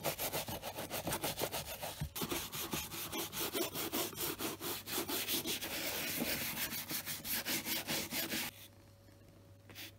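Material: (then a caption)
Leather. A hand-held, wooden-backed bristle brush is stroked over the toe and side of a hollow tan leather brogue boot. The result is a steady run of quick, bright, scratchy brush strokes, roughly two per second. Near the end the brushing stops, leaving a quiet low hum.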